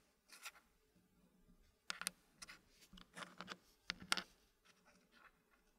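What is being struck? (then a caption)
Wooden puzzle pieces and wooden tray. Fingers place and rub solid dark-wood puzzle pieces into the slots of a green-painted wooden tray. Quiet, bright wood-on-wood clicks and short scrapes come in scattered bursts, and each click dies away almost instantly.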